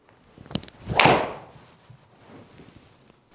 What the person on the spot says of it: the feel off the face from that carbon effect that Taylor maer focused on gave it kind of like a dull sound off the face